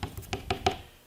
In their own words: sometimes when you tap on the plywood you can hear that there is a void in the plywood